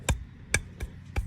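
Four short, sharp taps land on a hub centric ring pressed into a wheel's center bore, with the tapping going around its sides. Each tap is brief with a solid low thump and a bright click, and the taps sound alike. That sameness shows the ring is seated evenly and went in straight, so it is good to go.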